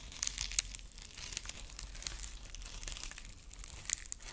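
Long nails scratch the dry husk ears of a dried corn husk rabbit figurine, then both hands grip its body. The result is a quiet stream of dry, bright crinkling and crackling, with sharper snaps near the start and end over a faint low hum.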